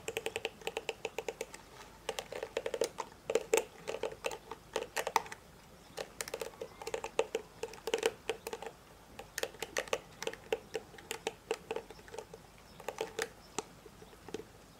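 Fingertips stroke and flick across the dense plastic bristles of a hand-sized hairbrush with a black plastic body, held in one hand. The result is quick runs of dry, crisp ticks and snaps with a bright edge and no ring, coming in bursts separated by short pauses.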